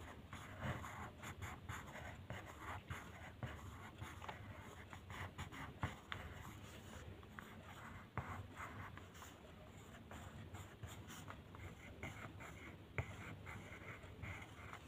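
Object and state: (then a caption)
Colored pencil scratching on paper. The tip of a purple colored pencil scratches across a flat white paper mandala coloring sheet on a table in small coloring strokes. The result is a quiet, steady run of soft, dry scratching that rises and falls with each stroke over a low, constant hum.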